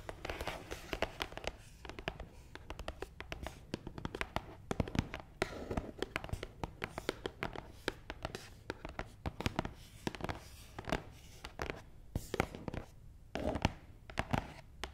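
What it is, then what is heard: Cardboard box tapped and scratched with nails. Long nails tap and scratch across the top of a long, hollow black matte cardboard box, making a quiet, dense run of quick, dry taps mixed with brushing scratches. Each tap dies away almost at once, with papery hollow thuds over a steady low hum underneath.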